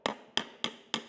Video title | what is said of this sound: Metal Finishing Secrets Every Fabricator Should Know | hear that ping noise? That's that ping noise and you're on the dolly.